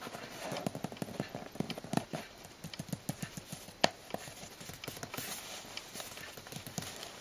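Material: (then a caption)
Cardboard. Long blue-painted nails and fingertips tap rapidly on the side wall of a closed, hollow brown cardboard shipping box that has a strip of clear tape. About twenty quick, dry, hollow knocks follow in an uneven rhythm, each dying out almost at once with a papery, mid-pitched body around 680 Hz.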